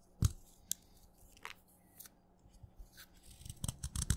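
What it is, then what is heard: Wet chalk stick being shaved. A craft knife blade scrapes and shaves flakes off the side of a solid wet red chalk stick. Short, crisp scraping strokes with a bright, gritty edge are spaced apart over a quiet background, then come quicker and louder toward the end.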